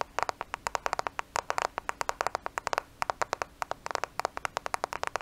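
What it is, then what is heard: Smartphone tapped with fingernails. A black smartphone with a glass and plastic body is held in both hands close to the microphone and tapped quickly with the fingernails. Many rapid, crisp clicks overlap in irregular bursts, each ending almost at once with a bright tick.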